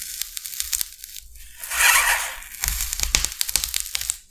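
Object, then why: Expanded polystyrene sheet scratched with a knife blade. The tip of a metal utility knife blade is drawn along a large, flat, solid sheet of white expanded polystyrene, scratching and scoring its surface. Bright, dry crackles and squeaky scrapes come in quick bursts, with a longer hissing, squealing drag in the middle. There is little low end, and each sound stops almost at once.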